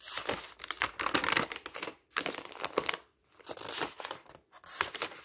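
Fingertips lift and riffle a loose bundle of thin printed office paper sheets lying on a pile, flipping pages. Dense, bright rustling and crinkling comes in bursts, broken by short silent gaps, with almost no low end.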